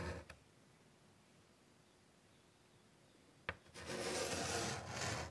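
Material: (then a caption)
Chalk. A white chalk stick scratches long curved lines across a large, flat, wood-framed chalkboard. A brief scrape at the start gives way to near silence, then a sharp tap is followed by a sustained, bright, gritty scratching stroke that fades at the end.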